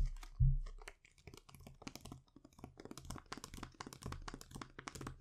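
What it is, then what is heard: Foil sheet mask packet. A thin, flat metallic foil sheet-mask sachet with the mask inside is held in both hands and tapped and scratched with the fingertips and short nails. A soft thump opens the clip, followed by quick, irregular crinkly taps and scratchy rustles with a bright, crisp edge over a muffled low body.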